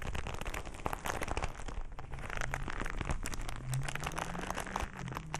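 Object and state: Leather glove being rubbed and crumpled.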